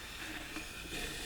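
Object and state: Nothing is struck.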